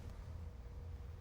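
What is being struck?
Nothing is struck.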